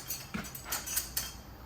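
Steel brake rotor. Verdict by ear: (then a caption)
Loose. A loose metal brake rotor on a Honda Civic Mugen Si, with the wheel off, is moved and gives five light, bright metallic clinks. The loose rotors, not the newly installed twin-disc competition clutch, were causing the car's metal-on-metal banging noise, and the noise was gone once the wheels went back on.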